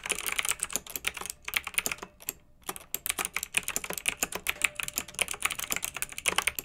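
Two hands with long red nails type with their fingertips on a pink mechanical keyboard with round retro plastic keycaps, blue backlight and a hollow plastic case. The result is a fast stream of bright, short, clicky keystrokes with almost no low end, broken by a brief pause a little past two seconds before the typing resumes.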